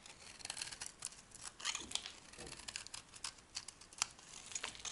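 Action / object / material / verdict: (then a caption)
scrape / bar of soap shaved with a metal blade / soap / none. A dry, soft, solid white soap bar is held in the hand and shaved with a metal blade, peeling flakes and curls off its surface. The result is a quiet run of crisp, bright scraping and crackling strokes, almost entirely high-pitched with very little low end.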